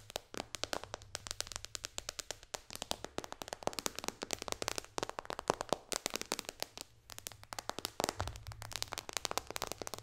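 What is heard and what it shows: Long dark fingernails tap rapidly on the glass touchscreen of a white-bezeled iPad lying flat. The result is a dense, continuous stream of sharp, bright clicks, each dying away almost instantly, with a few louder accents throughout.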